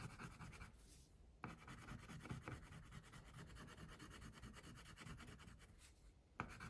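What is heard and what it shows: A wax crayon held in the fingertips rubs back and forth across a paper coloring sheet printed with a baby tiger, lying flat on a clipboard, while the other hand with long pink nails rests on the sheet. A steady, soft, grainy scratching continues throughout, with a low-heavy body and faint bright hiss. Two sharper clicks stand out near the start and the end.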